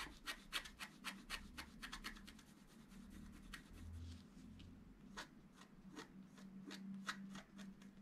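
A wooden stylus rubs and scratches across a flat scratch art sheet of black-coated paper held flat by hand. Quick, uneven bursts of short, bright, dry scratching strokes come in a rapid run, pause in a softer rubbing stretch, then resume, over a faint low hum.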